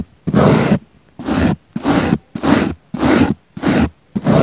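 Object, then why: Soft foam sponge brushed with a small bristle brush. A small pink bristle brush is swept across a round, solid, soft, palm-sized pink foam sponge with a microphone in its centre, moving away from the mic. Seven rough, breathy scratching strokes come in a steady rhythm, each a dense hiss with a soft low rumble, separated by short silences; the last stroke is cut off.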